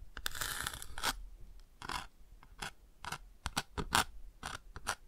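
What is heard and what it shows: A bamboo ear pick scratches and traces across the textured chick on the open chick page of a cardboard touch-and-feel board book. A sustained rough scrape comes first, then a run of short, bright scratches separated by brief pauses.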